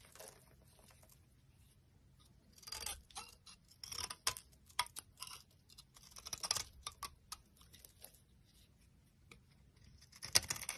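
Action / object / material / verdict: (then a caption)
scrape / bar of soap / soap / none. A metal utility blade carves flakes from a solid, dry orange bar of soap held in the palm. Quiet, bright scraping and crisp shaving bursts come in irregular strokes, with short pauses between them and a sharper scrape near the end.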